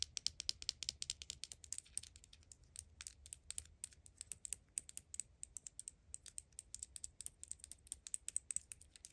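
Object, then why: Small plastic deodorant stick replica. Long acrylic nails tap and scratch a small, hollow black plastic Axe deodorant replica, a mini plastic deodorant stick held in the palm. A quiet, rapid stream of bright, dry clicks and light scratching is heard, each tap ending almost instantly with no ring and very little low end.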